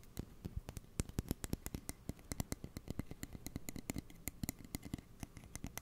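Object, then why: Closed steel kitchen scissors. Fingernails scratch along the blade of closed steel kitchen scissors with plastic handles, held horizontally near the microphone. About forty quick, dry clicks and scrapes come in an uneven stream, each with a low thud and a bright tick that stops almost at once.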